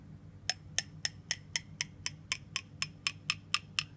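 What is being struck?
Ceramic mug of hot coffee.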